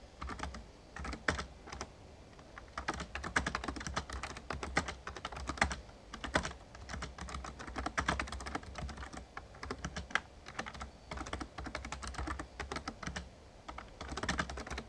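Rapid key taps are typed with the fingertips of both hands on an RGB-backlit plastic Razer Ornata Chroma membrane gaming keyboard with a hollow casing. Dense bursts of short, soft clicks and clacks come in quick runs with brief pauses, over a steady low hum throughout.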